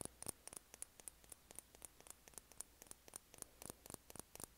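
Long painted nails tap on a small, partly filled glass foundation bottle with a white plastic cap, held up in both hands. A quick, uneven run of quiet, sharp clicks comes about four per second, each with a thin, high glassy tick that stops almost at once.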